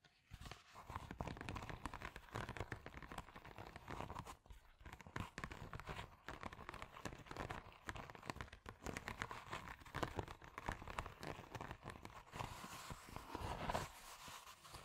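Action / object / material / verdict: scrape / plastic padded bubble mailer / plastic / none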